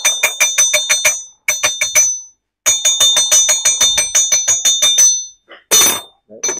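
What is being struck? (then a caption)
Ceramic tea cup of iron-bearing clay. Ceramic tea cups from a 450 ml fire-changed jade-glaze tea set, made of clay containing iron ore, are tapped in quick runs, 24 strikes in all. Each tap gives a very sharp, high metallic ring like two pieces of iron struck together, and the iron in the clay gives the cups this ring.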